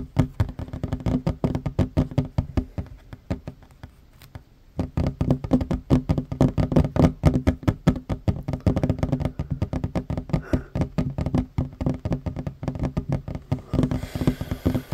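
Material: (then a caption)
Wood. Both hands fast-tap a flat, solid wooden tabletop with short fingernails, producing a rapid, uneven stream of short, dull knocks centred around 250 Hz with almost no ring. The tapping pauses briefly near the four-second mark, then resumes louder and denser, and the last second turns into a softer, brighter brushing texture.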